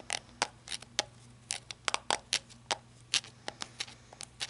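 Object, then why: Rubber-gripped flashlight end cap. Long red-painted nails scratch and tap the end cap at the tail end of a small, handheld, hollow-bodied black flashlight with a ribbed, rubber-like grip. About eighteen sharp, bright clicks and brief scrapes come in an uneven rhythm, each dying away almost instantly with hardly any low end beneath a faint steady hum.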